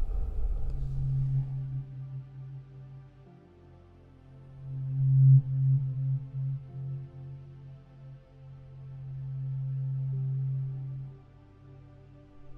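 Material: Nothing is struck.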